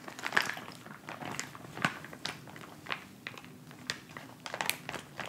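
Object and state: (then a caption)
Plastic instant cold pack. A filled white plastic instant cold pack pouch resting on fabric is tapped and rubbed with fingertips and nails. The result is a quiet, steady stream of short crinkling, crunching taps and scratchy rubs with bright, crisp plastic texture and little low end.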